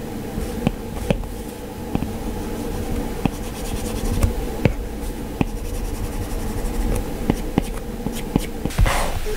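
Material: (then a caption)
Glass. A hand shades with a stylus, its plastic tip continuously scratching and rubbing across an iPad's glass touchscreen. A soft, steady scratchy texture sits over a low background hum, punctuated by about eleven sharp taps as the tip strikes the glass.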